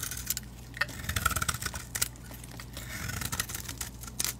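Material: Soap.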